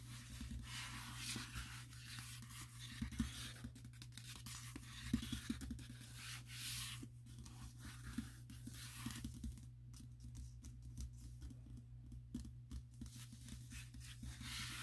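Fingertips and short nails rub, scratch and tap across the glossy cover of a closed paper furniture catalog lying flat. Soft, hissy rubbing swells come and go, broken by quick scratchy taps, over a steady low hum.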